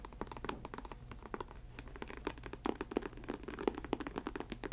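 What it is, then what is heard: Faux snakeskin ankle boot. Long acrylic nails tap and scratch the upper of an empty faux snakeskin ankle boot, a snake-print synthetic leather boot, near its studded trim. A rapid series of short, dry taps with a low-mid body is mixed with light, bright scratching. Each tap dies away almost instantly over a faint low hum.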